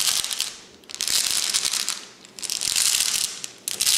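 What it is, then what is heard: Glass vase full of glass gems. A tall clear glass cylinder vase lying on its side and full of flat glass gems is steadied by one hand while the fingertips and short painted nails of the other tap and scratch across the glass. The result is bright, high, rattling clicks and scratchy taps that come in four dense bursts, each swelling and fading.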